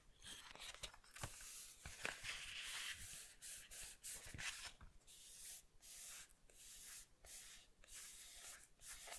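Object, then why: Matte paper book page. Fingertips rub and scratch a matte paper page bearing a pencil sketch, the inner cover of a paperback manga. The sound is a dry, bright, hissy scraping in short bursts with brief pauses, dotted with sharp little clicks and almost no low end.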